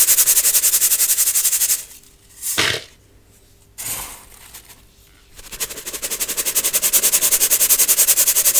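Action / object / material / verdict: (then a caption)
shake / metal mesh sieve with baking soda powder / metal mesh / none. A small round gold-coloured metal mesh sieve holding white baking soda powder and clumps is shaken or tapped rapidly over a clear plastic bowl, so the powder sifts through. It makes a fast, bright, rhythmic rattling hiss of about three to four pulses per second. The shaking pauses in the middle, leaving near-quiet broken by a couple of soft swishes, then resumes and builds back to steady rattling.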